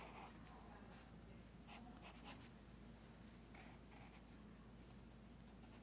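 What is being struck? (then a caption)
Pencil on paper sketchbook page. A pencil's graphite tip is drawn across the page of a large open paper sketchbook lying on a teal folder on carpet. A quiet, continuous scratching stroke runs throughout, with brief brighter scratches standing out over a steady low hum.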